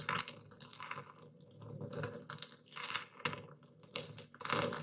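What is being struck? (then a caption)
Epsom salt crystals in a wooden bowl, ground with a stone pestle. A dark speckled stone pestle presses and grinds into coarse white Epsom salt crystals in a wooden bowl held by a hand. Gritty, crunchy crackling comes in uneven bursts, with bright, scratchy grinding between the louder crushes.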